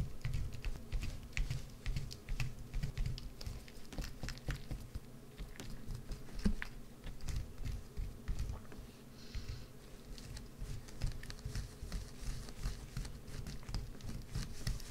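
A small, solid green bar of soap, partly hollowed out, is held in one hand and scraped and scratched with a white-handled carving tool, with shavings falling onto a dark mat. The clip is a quiet, steady stream of dense, rapid scratchy clicks with a dull, low-heavy tone and short, dry taps.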